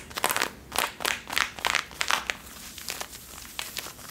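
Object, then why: Denim jeans fabric. Long nails scratch the waistband and back pockets of worn blue Levi's denim jeans, making dry, bright, crinkly scratching in quick bursts. The strokes are strongest early on, then trail off into softer, fainter scratches.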